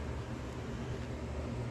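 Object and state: Nothing is struck.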